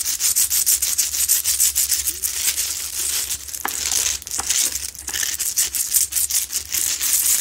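Long nails scratch the sides of a lit, medium, solid, rough Himalayan salt rock lamp. The result is a fast run of dry, gritty, bright rasping strokes with a steady low hum underneath.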